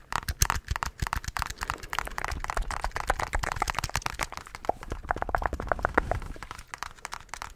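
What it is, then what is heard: Plastic calculator keys being tapped. Fingertips tap rapidly on the keys of a handheld black plastic scientific calculator. The taps are a steady stream of dry, short clicks with a crisp crackle, a soft low knock underneath, and no ring after each press.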